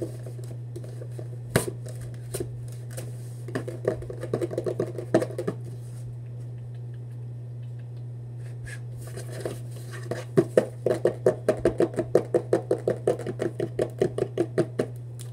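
A hollow Vans cardboard shoebox is handled and tapped with fingertips on its faces and edges, giving soft, dull, papery knocks. Scattered single taps give way to quick runs of rapid tapping, with the busiest stretch near the end, all over a steady low hum.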